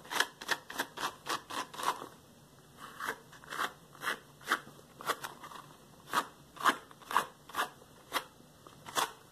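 Yellow rubber gloves (latex) worn on the hands have their gloved fingers quickly rubbed and slapped against each other. This produces 17 short, dry, crinkly snaps with bright, high hiss and almost no low end, coming about twice a second with a brief lull near the two-second mark.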